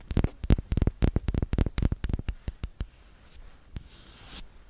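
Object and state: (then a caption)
Glass dropper bottle. Long metallic-polished nails tap and scratch a small, apparently full rose-gold tinted glass dropper bottle of liquid makeup with a black dropper cap, held in both hands close to the mic. A quick, irregular run of sharp, dry clicking taps comes first with a deep low thump under each. These thin out into a soft, hissing scratch that fades toward the end.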